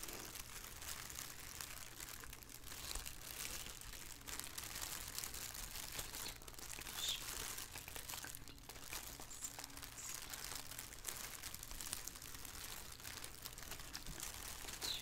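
Fingertips with painted nails crumple and crinkle the film of a thin, hollow, empty black plastic shower cap resting on a wooden table. A dense, continuous stream of bright, crisp crackling fills the clip at a fairly even level, over a faint low steady hum.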